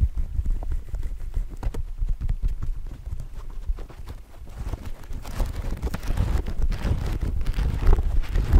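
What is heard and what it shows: Fingertips and nails tap and scratch along the fore-edge of a thick hardcover book's solid paper stack, held horizontally close in front of the microphone. Soft, dull, low-heavy taps patter irregularly at first, then after a brief lull the scratching grows louder and denser with a brighter rustling texture.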